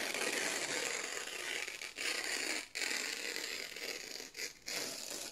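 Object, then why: Printed office paper sheets. Fingertips slowly tear a long strip off thin white printed office paper sheets with red marks. The tear is a steady, bright, fibrous crackle with almost no low end, broken by a few brief pauses before it continues to the end.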